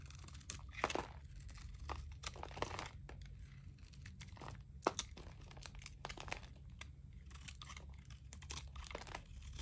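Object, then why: Bar of soap scraped with a blade. A metal utility blade scrapes crumbly shavings off a palm-sized, solid white bar of dry, painted Palmolive soap held in the palm. Quick, dry crunching and crackling scrapes come in a rapid, uneven series over a steady low hum. The scrapes are bright and short, with no ring.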